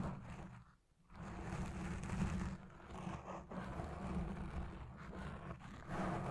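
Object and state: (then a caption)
Foam microphone windscreen being scratched. Long red nails scratch across a black foam windscreen dome on a Blue Yeti Pro microphone, then a hand grips over the top. The result is a heavy, muffled, low rumbling scrape with a steady hum near 200 Hz and almost no bright content. It pauses briefly near the one-second mark and swells louder at the end.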